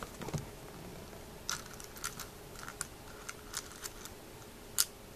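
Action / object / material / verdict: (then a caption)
shake / dry snail shells in a small milk glass jar / shell, glass / none. Fingers stir through a small white milk glass jar filled with dry, hollow snail shells and pick them up, making the shells clink against each other and the glass. Short, bright, scattered clicks and ticks rise over a quiet background, with one louder clink near the end.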